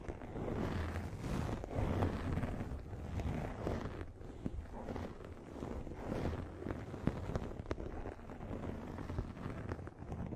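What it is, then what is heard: Microfiber pad scratched over the microphone. A pink, fluffy microfiber makeup remover pad is held over the microphone and scratched with long nails. The result is a dense, muffled rustling and rumbling, heavy in the low end with little brightness. It swells and fades in waves, with a few sharper scratches poking through.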